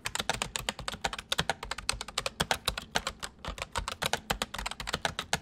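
Fingertips of both hands type densely and quickly on a white full-size plastic mechanical computer keyboard. It makes a rapid, uneven stream of sharp, bright clicks, each with a soft low thump beneath, dying away almost instantly between strokes. The clattering rhythm continues steadily throughout.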